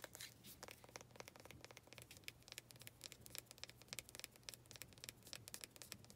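Long red nails tap and scratch the wood grain of a small faceted wooden pot holding an artificial cactus. Quick, dry, bright clicks and scratchy rasps come in a dense, irregular stream, each dying away almost at once, over a faint steady low hum.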